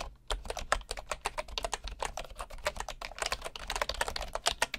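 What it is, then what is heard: Bamboo wooden computer keyboard. Fingertips of a right hand press the keys of a bamboo wooden computer keyboard in steady, continuous typing. Each keystroke gives a short, dry, woody click with a bright edge that dies away almost instantly. A faint low hum runs underneath throughout.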